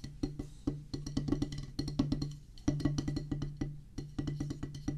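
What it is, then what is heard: Rubber drum practice pad. Two wooden drumsticks drum fast on a solid oval practice pad with a black rubber top on a pressboard/wood base. The result is a rapid, uneven stream of short, dull, woody taps with a low thump. Each stroke dies away almost at once, with a few louder accents along the way.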